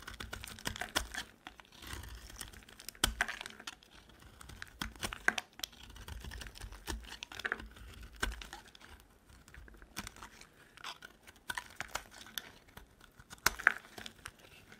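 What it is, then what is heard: Dry soap bar being carved. A metal utility knife blade carves chunks off a dry, solid pink and white layered soap bar held in the hand. The sound is a steady run of crisp, dry scraping and crackling cuts, with sharp, short snaps that die away almost at once. Brighter flakes crumble off between the louder strokes.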